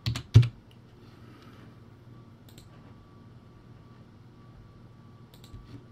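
Fingertips type on a poor-quality, backlit, typewriter-style plastic keyboard with round white plastic keycaps. A quick burst of sharp, dry clacks at the start ends in one louder key strike, followed by a low background hum with a faint steady tone. A few soft taps return near the end.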